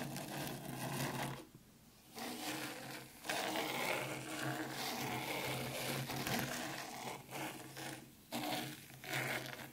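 Long pointed pink nails scratch and comb fine white sand in a black round Zen garden tray. The result is a dense, bright, grainy rasping in bursts, with brief quiet pauses and a faint low hum underneath.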